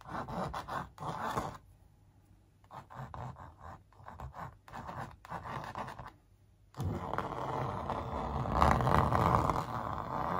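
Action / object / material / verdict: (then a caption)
scrape / printed canvas stretched on a wooden frame / canvas / none. Long nails trace and rub across the sneaker print on a large printed canvas stretched over a hollow-backed wooden frame. Dry, scratchy rubbing strokes come in short bursts separated by near-silent pauses, with a low hollow resonance underneath. After about 6.8 seconds the rubbing turns continuous and louder through to the end.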